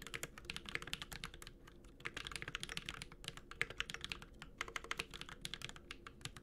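A Space65 Cybervoyager 65% mechanical keyboard with an aluminum case, plastic keycaps and Holy Panda switches is typed continuously with the fingertips of both hands. Rapid, bright, crisp key taps with a slight low thock die away almost instantly, forming a steady, uneven typing rhythm.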